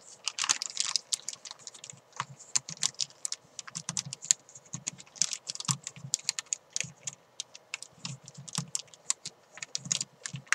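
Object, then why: Thin plastic bag wrapped around a chalk ball. Long nails and fingertips crinkle and scratch a thin clear plastic bag wrapped around a hand-sized white chalk ball. The result is a rapid series of dozens of short, dry, bright crackles and ticks with almost no ring, plus a soft low thump under some of the presses.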